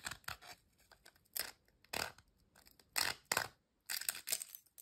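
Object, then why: Ridged potato chip. A single thin, dry, crisp ridged potato chip is held over an empty glass bowl and snapped into pieces by fingertips. It makes a series of short, bright, crackling snaps separated by brief quiet gaps, with almost no low end and no lingering ring.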